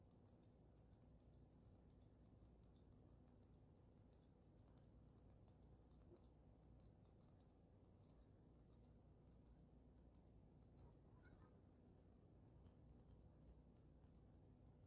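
Painted nails tap rapidly on the glass dome of a water-filled glass snow globe with a dragon and glitter inside. The sound is a steady stream of quiet, bright, very short clicks over a faint low hum, with no speech.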